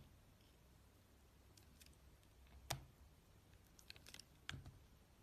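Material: Glycerin soap.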